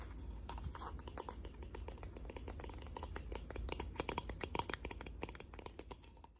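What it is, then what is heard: Wooden box. A wooden box is tapped with the fingernails in a rapid, uneven run of short, dry clicks over a low steady rumble. The taps die away almost instantly, with a few sharper ones near the middle before the tapping eases off at the end.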